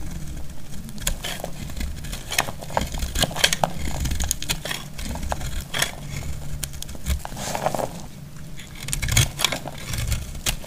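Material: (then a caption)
Soap. A metal utility blade cuts and scrapes a solid purple bar of dry soap held in the hand, producing dense, crackly snaps and bright clicks as flakes break off. The crisp scraping runs steadily throughout over a low, muffled rumble.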